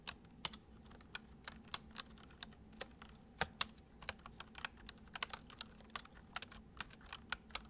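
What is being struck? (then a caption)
Plastic computer keyboard. Fingertips of both hands type fast on a full-size white plastic computer keyboard with hollow keys resting on a wooden desk. About 29 short, bright, hollow clicks sound in quick, uneven succession, each dying away almost instantly over a faint low steady hum.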